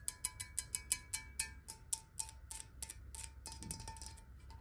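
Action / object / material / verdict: tap / glass bottle holding water / glass / none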